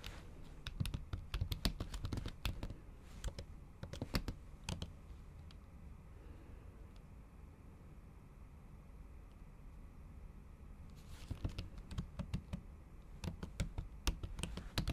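A MacBook keyboard covered by a thin pink patterned silicone skin is typed and tapped with long acrylic nail tips and fingertips. Bursts of short, dull clicks cluster at the start and end, with a quieter pause in the middle. The solid keys give soft, low-heavy taps with very little ring.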